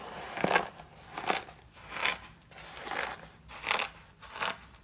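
A pile of cream-colored dry soap flakes, thin solid shavings, is pressed and crushed with fingertips and short pink-painted nails, then squeezed between both hands. About six dry, bright crackling crunches come in rhythmic bursts with short pauses between them.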